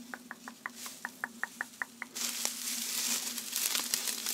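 A light, fluffy gold metallized plastic tinsel garland with thin foil strands is held up, shaken, waved and crinkled in hands with long manicured nails. About ten short, evenly spaced ticks sound over a faint low hum, then a dense, bright crinkling rustle of the foil strands builds and continues to the end.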